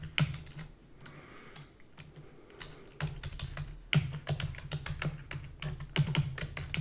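Fingertips with long natural nails rapidly press the keys of a black full-size plastic computer keyboard with hollow key housing. Dense, sharp clicks carry a hollow low thud and bright tips. A quieter, sparser stretch early on gives way to louder, faster runs of typing.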